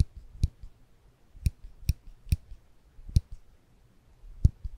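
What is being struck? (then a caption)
Small ribbed metal clicker. A small silver ribbed metal clicker, held in the fingertips above the microphones, is squeezed with the fingers to make six short, sharp clicks at uneven intervals. Each click has a dull low thump with a brief bright tick on top and almost no ring, separated by quiet pauses.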